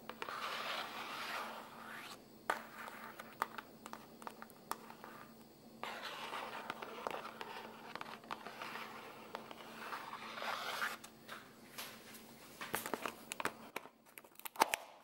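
Fingertips and nails scratch and rub the surface of a closed, flat, blue printed cardboard spaghetti box, full of pasta and lying on a white counter while one hand holds it. Long bursts of dry, papery scratching with a bright hiss alternate with quieter stretches of scattered sharp ticks and taps over a faint steady low hum. The scraping fades out into a few crisp clicks at the end.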